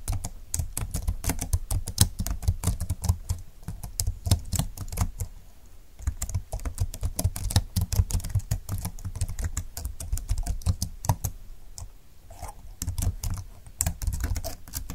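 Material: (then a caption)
Plastic. A full-size slim keyboard with plastic keys and a light grey frame, lying flat on a desk mat, is typed on rapidly by fingertips with long nails. Dense, quick clicky taps run continuously with brief lulls, each short and crisp over a low thudding body.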